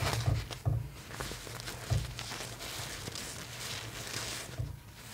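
Long painted nails scratch and rub the shiny purple satin puff sleeves and shoulders of a large plastic Rapunzel styling doll, where the fabric sits over the hollow plastic torso. Soft, dull thumps and a steady rustling scratch are heard, with most of the sound low and muffled.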